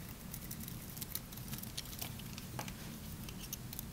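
A solid, dry, hand-sized green bar of soap is held in one hand while a small knife blade shaves across its surface. Quiet, crisp, crunchy scraping ticks and brief bright flecks of sound recur over a steady low hum throughout.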